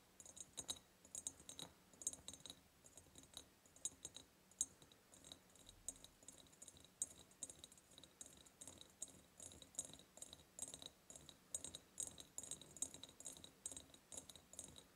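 Long purple nails tap and scratch along the ribbed sides of a large, hollow, clear glass jar. Quick, bright clicks and scrapes with a very short ring repeat steadily throughout, with a faint ringing tone high up and almost no low end.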